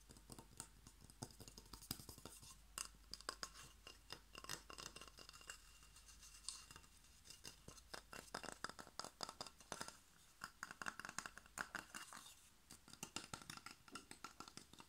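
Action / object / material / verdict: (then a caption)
tap / glazed ceramic bottle / ceramic / none. Fingertips and nails rapidly tap and scratch the glazed surface of a long, hollow, cream-colored ceramic bottle with a blue painted pattern, held horizontally. A dense, quiet stream of sharp, bright clicks and clinks comes in quick bursts with brief pauses, each tap dying away almost at once, mixed with faint scratching. The taps carry a hollow ringing tone around 1.4 kHz.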